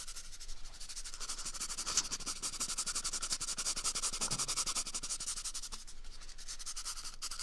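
Fingers quickly rub and scratch the surface of an empty, hollow brown cardboard toilet paper tube held close to the microphone. The result is a continuous, rapid, dry scratching texture. It is bright and hissy, with dense high-frequency detail and light low rumble throughout.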